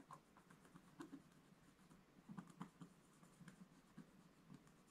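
A wooden scratch stylus scratches small details into the black coating near the bottom of a solid scratch-art page in a book lying flat on a table. Quiet, soft, dry scratching strokes come in short, uneven bursts over a faint, steady low background.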